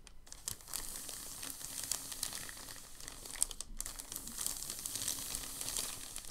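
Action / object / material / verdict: scrape / thin packing paper sheet / paper / none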